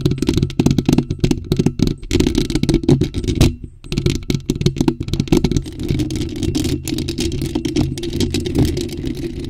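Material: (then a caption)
Metal mesh. Long acrylic nails rapidly scratch and tap a bare, hollow black metal mesh microphone grille with no cover. The result is a dense, boomy low rumble full of quick thuds and gritty crackling scrapes, with a brief lull just before the four-second mark before the scratching continues steadily.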